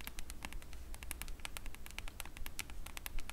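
Long pointed nails tap rapidly on the printed cardboard back cover of a hardcover comic album lying on top of other books. The taps come as quick, irregular, short clicks with crisp high-end ticks and almost no ring, over a steady low hum.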